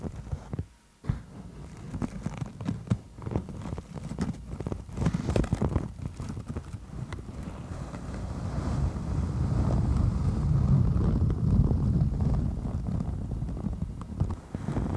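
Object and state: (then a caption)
Beeswax-coated cotton food wrap. A stiff beeswax-coated cotton food wrap folded over the microphone is tapped, scratched and gripped with long nails. It gives muffled, low-heavy thumps and crinkly rustling. After a brief quiet near the start, it builds into a louder, denser rubbing and crackling through the second half.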